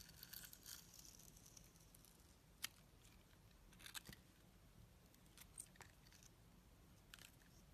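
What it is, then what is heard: Bar soap being shaved. A metal box-cutter blade shaves the green glitter coating off a solid translucent orange bar of soap held in the hand. Quiet, bright scraping and crinkling carries on throughout, broken by a few sharp, crisp snaps that die away instantly, over a steady low hum.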